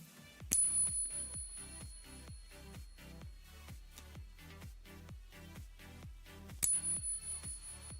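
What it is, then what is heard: Genuine silver coin, clear ping. A silver coin is tapped with a pocket pinger twice, about six seconds apart, each tap giving a clear, high, bell-like ring that sustains over thumping background music. The long, pure ring marks the coin as real silver.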